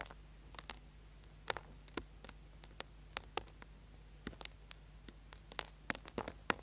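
A small, solid orange bar of soap held in the hand is scraped with a small metal tool, leaving shavings on the board. About 25 short, sharp, bright scratches and clicks sound at irregular intervals, each dying away almost instantly, over a quiet, steady low hum.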